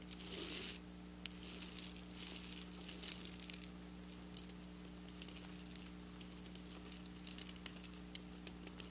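Long black nails scratch and tap across flat silver sequin fabric, making bright, hissy scratching bursts in the first few seconds. These give way to quieter, scattered crisp ticks and clicks. A steady low hum runs underneath throughout.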